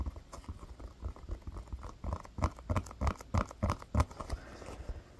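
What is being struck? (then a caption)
Foam toy football. A solid, textured blue foam toy football is held in the hands and tapped and scratched with the fingertips and nails. The result is a soft, dull, low patter of quick taps with light scratching, irregular in rhythm, with a few firmer thumps toward the end.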